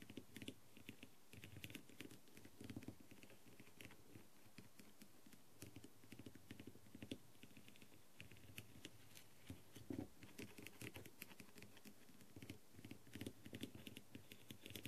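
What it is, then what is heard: Plastic masquerade mask with rhinestones. The pointed clear tip of a green light-up tool taps the rhinestones along the upper edge of a thin, hollow plastic masquerade mask. The result is a quiet, steady patter of rapid, light clicks with short, bright ticks over a soft, low hollow knock.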